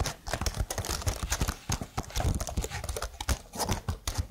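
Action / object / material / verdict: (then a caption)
tap / plastic computer keyboard / plastic / none. Long blue-painted nails type and tap on a slim, hollow black plastic computer keyboard with marble-patterned sticker keys, held up close. A rapid, uneven run of short, dry clicks and clacks follows, each with a deep hollow thump and a bright clatter on top.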